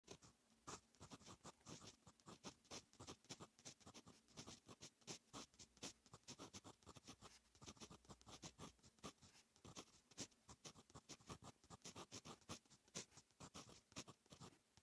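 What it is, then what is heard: Fountain pen writing on notebook paper. A fine metal fountain pen nib held in fingertips writes Korean handwriting on a lined notebook page lying flat on a surface. Quick, bright scratching strokes follow one another in a steady, continuous patter of short bursts, with a quiet low undertone between them.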